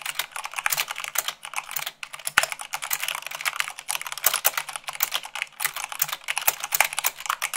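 Long pink-nailed fingertips type fast, at about 98 words per minute, on a full-size mechanical keyboard with white plastic keycaps on a black frame. A dense, steady stream of crisp, bright clacks and clicks with very short decay and almost no low end.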